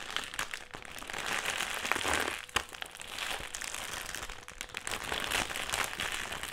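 A black, foil-lined metallised plastic crisp packet is held in the hands and crumpled and squeezed. It makes a steady, bright crinkling and crackling that swells and fades in waves, with a few sharper snaps and very little low end.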